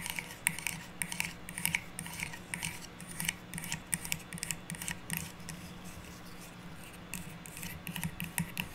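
A hollow spool of metallic plastic curling ribbon, a cylindrical stack of red, green and white rolls on a cardboard core, is held in both hands while long nails scratch and tap its surface. The result is a quiet run of bright, crisp scratches and quick taps over a steady low hum.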